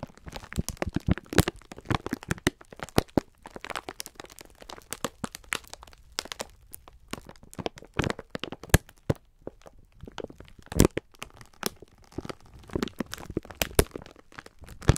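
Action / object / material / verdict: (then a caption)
scrape / sponge scourers in a plastic film wrapper / plastic film / none. Fingertips and thumbs squeeze and rub a clear plastic film package holding several full, soft sponge scourers. The wrapper gives off a steady stream of sharp, dry crackles and crinkles, with brief bright snaps over a soft low rustle. Short pauses break up the sound.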